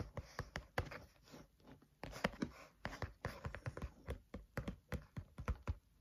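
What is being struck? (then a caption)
Spiral notebook with card cover. Fingertips of both hands tap rhythmically on the cover of a flat spiral notebook with a green cover. Twenty-four short, dull, low-pitched taps come in quick, uneven bursts, with faint soft rustling between them. The taps are quiet and stop dead with almost no ring.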